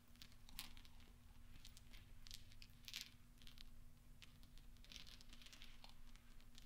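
Fingertips and nails push small solid steel pachinko balls into a pile on black velvet, producing dense, bright metallic clinking and clicking. The clinks come in quick, overlapping clusters over a steady low hum.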